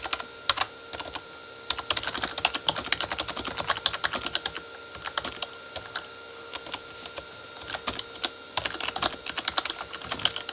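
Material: Plastic.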